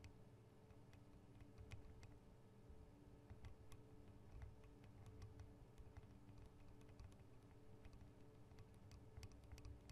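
Long acrylic nails tap on the two small hollow microphone capsules of a Tascam DR-40 recorder, in metal and plastic housings. Quiet, sharp, clicky taps scatter irregularly over a steady low hum. The taps cut off almost instantly with no ring.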